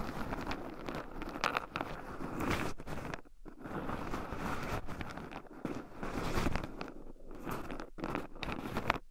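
Two wooden chopsticks stir and poke through a small wooden bowl heaped full of raw shelled pine nuts, with two black microphones buried in the pile so the nuts rub against them too. A steady, dense crunchy rustle and scratching of tumbling nuts continues throughout, punctuated by brief pauses and small louder clicks.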